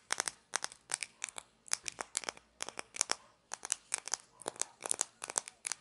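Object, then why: Small hollow plastic toy shaker bottle. A small hollow plastic toy condiment shaker with an orange cap and a paper label is held in both hands and scratched and tapped with long fingernails, its cap clicking. Quick clusters of sharp, dry, crinkly taps and scratches come in bursts, bright and crisp with almost no low end and no ring.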